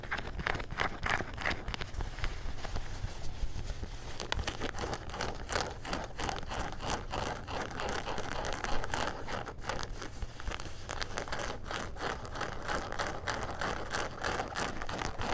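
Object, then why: Denim jean shorts with a leather patch. Gray denim jean shorts with a leather back patch are held upright while fingertips and nails scratch the fabric around the waistband and back pocket. Dense, rapid rough scratching and crinkly rasps run continuously for about fifteen seconds over a steady low hum, with short, dry strokes that stop quickly.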